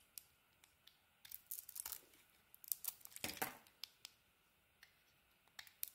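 A utility knife blade shaves and carves a solid pink bar of soap, with flakes falling onto the table. Quiet, bright scraping and tearing strokes come in short bursts, with one longer rasping cut near the middle. Crisp little ticks are scattered between them, and there is almost no low end.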